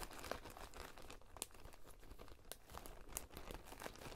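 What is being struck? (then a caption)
Coarse salt in a glass bowl. A spoon is stirred and scraped through coarse salt filling a clear glass bowl. The result is a steady, soft gritty crunching and crinkling with frequent short, sharp bright ticks scattered throughout.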